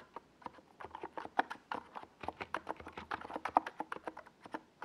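Fingertips of both hands rapidly tap the keys of a compact 68-key NiZ Plum Atom 68 plastic mechanical keyboard, with a white plastic case, hollow body and purple and yellow Domikey Gas Attack SA plastic keycaps, resting on a desk pad. About 26 short, mid-pitched plastic clacks fall in an uneven typing rhythm, each dying away almost at once.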